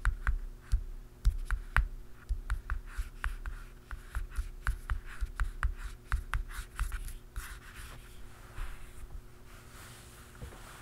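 Fingertips and short nails tap on the black plastic lid of a hollow round canister in an irregular run of quick, dull, low thumps with light clicky tops. Each tap dies away almost at once, and the tapping grows softer and sparser toward the end over a faint steady hum.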